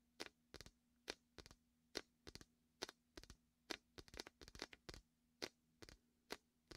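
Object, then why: Inflatable vinyl beach ball. Fingertips squeeze and peel the sticky vinyl of a large, red and white, hollow inflated vinyl beach ball cradled in the fingers against the mic. Quick, bright crackling snaps come in irregular bursts and clusters over a steady low hum, each dying away almost instantly.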